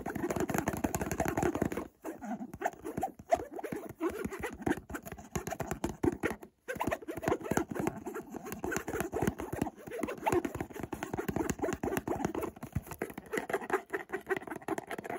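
A closed white cardboard Montblanc perfume box, held in one hand, is rapidly tapped and scratched on its side with fingertips and short nails. The result is a dense, dry patter of quick taps and scratchy rustles centered in the low mids, with brief pauses near 2 and 6.5 seconds.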